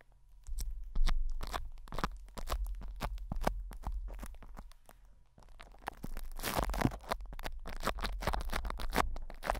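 Fingertips and nails scratch and rub crinkly plastic cling wrap stretched over a hollow metal mesh microphone head. Dense crackling crunches and scrapes come in quick bursts over a steady low hum. After a brief quieter stretch, the rubbing grows louder and busier.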